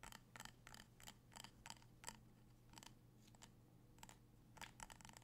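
A small amber glass jar filled with candle wax is held in the hands while fingertips and nails tap its glass sides and rim. About fifteen short, bright clicks sound, each with a faint glassy ring around 930 Hz that dies away almost at once, over a steady low hum.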